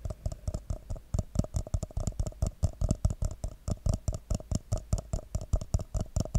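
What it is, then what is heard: Paper cup tapped. Fingertips and nails tap the side of an empty, hollow red paper coffee cup with a white Christmas-tree print, held upside down near the mic. Around 35 quick, uneven taps land as dull, boomy low thumps with a hollow mid-range ring and a faint bright click. Each tap dies away almost at once.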